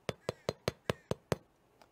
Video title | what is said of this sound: Quarantine Bakery Whole Wheat Sourdough Bread | I don't know if you can hear that here, but that crust sounds fantastic.